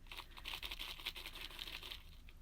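A dried American lotus seed pod is shaken, and the loose seeds inside rattle in a quick, dry, crackling series of bright clicks. As the pod matures, these seeds fall out and float away on the water.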